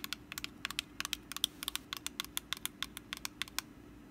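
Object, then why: Small woven wicker pumpkin basket. Long black acrylic nails scratch and tap across the woven top of a small, hollow, orange rattan/wicker pumpkin basket held in hand. The result is a rapid, uneven run of dry, bright clicks and short scratches, each dying away almost instantly over a faint low hum.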